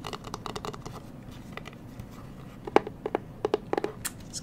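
Long nails tap and scratch along a closed, hollow, hand-sized black Versace hard sunglasses case with a rigid leatherette-covered shell, held in the hand. A quick, uneven run of soft scratchy strokes gives way to sharper, dry taps that land mostly in the low-mid range with a faint high edge and die almost instantly.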